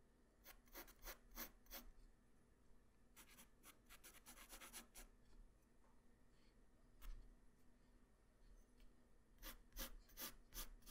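A graphite pencil tip draws hair lines on a flat white paper sheet, making quiet scratching and rubbing strokes. The short, bright strokes come in quick clusters with pauses between them, over a faint low hum.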